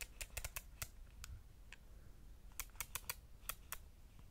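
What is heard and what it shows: Fingertips tap and click around the ridged rings of a compact camera's silver metal lens barrel, seen close up. About fourteen short, sharp clicks ring bright around 2.4 kHz and die away almost instantly, in two loose clusters. A quiet low rumble sits beneath them.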